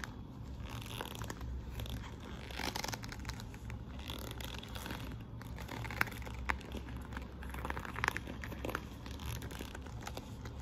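Long nails and fingertips scratch and rub across the glossy quilted flap of a hollow patent faux-leather handbag with metal studs. The result is a steady, soft crinkling scrape over a low, constant hum, with a few sharper clicks near the middle and later in the clip.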